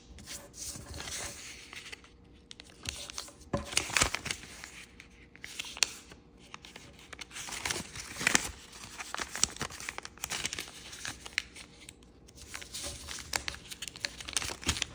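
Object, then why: Thin origami paper sheet. A small, thin sheet of red-and-yellow floral chiyogami origami paper is folded, with fingertips creasing and rubbing the folds. The result is a steady stream of bright, crisp crinkles, rustles and sharp crease snaps that are mostly high-pitched, with brief quieter pauses in between.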